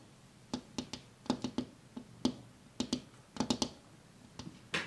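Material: Glass.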